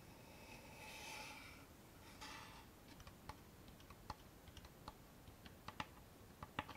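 Long manicured nails tap on the front face of a small hollow wooden box with a dark stained finish and a metal latch. Two soft, brushy swells of sound come first, followed by a series of sharp, bright, dry clicks that die away almost instantly against a quiet background.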